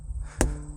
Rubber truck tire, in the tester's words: Very different sound, way softer hitting this one.